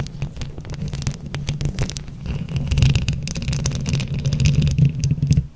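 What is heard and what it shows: Long acrylic nails scratch and tap a hollow microphone grille covered in glued plastic flower buttons, with hands cupped close around it. The result is a dense, muffled, low rumbling scrape with a steady hum near 133 Hz, dotted with quick tapping clicks and faint brighter scratches. It grows louder and fuller in the second half.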